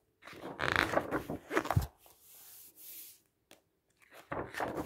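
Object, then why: Thick printed paper brochure. Fingertips slide and rub across the pages of a thick printed paper brochure with a green edge lying on a table, then turn them. Bursts of crisp, crinkly rustling and papery swishes alternate with a softer, steady rubbing hiss and a few brief near-silent gaps. A final page turn ends the clip with another louder rustle.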